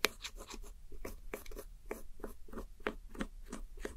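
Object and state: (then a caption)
Pressed powder eyeshadow being scraped. A red-handled metal hook tool scratches and crumbles the pink, purple and red pressed powder eyeshadow wedges in a round white plastic palette. Quiet, dry scratchy crunches repeat in quick, even strokes, each short and bright with no ring, as the powder breaks apart.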